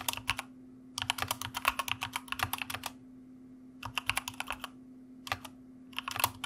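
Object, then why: Plastic mechanical computer keyboard. Fingertips of both hands type on a white plastic mechanical computer keyboard, producing bursts of rapid, bright, crisp clicking keystrokes separated by short pauses. A faint steady low hum runs underneath throughout.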